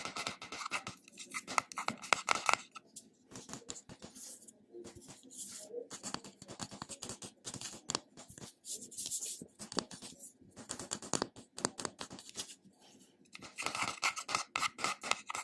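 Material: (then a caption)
Metal. Fingernails scratch the engraved top of the silver metal-look lid on a small glass neck cream jar held in the hand. The result is quiet, dense, rapid scratching with crisp, bright clicks and almost no low end, coming in busy bursts separated by brief pauses.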